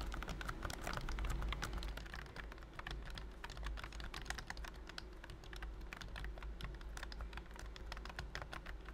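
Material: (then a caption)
Plastic. Fingertips type steadily on a pink and cream plastic BT21 COOKY wireless keyboard with round keys under a thin silicone key skin. Rapid, irregular soft taps and clicks run throughout, damped and short, over a steady low hum.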